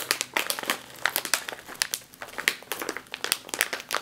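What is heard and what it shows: A sealed metallized foil snack chip bag is squeezed and crinkled with the fingers and long nails. The result is a dense run of sharp, bright crackles and crinkles, each snapping off almost at once, with no low rumble underneath.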